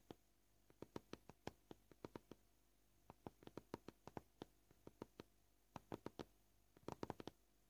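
Short purple fingernails tap on a white plastic cutting board in a series of quiet, dry clicks. The taps come at an uneven, shifting pace, some spaced apart and some in quick clusters, each one sharp and gone instantly with no ring.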